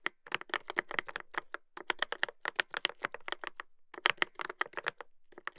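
Fingertips type continuously on a Dolphin 2021 mechanical keyboard with a brass plate and plastic keycaps. A rapid run of short, crisp clacks centers around 2 kHz, with little low end and no ring. Near the four-second mark there is a brief pause before the typing resumes.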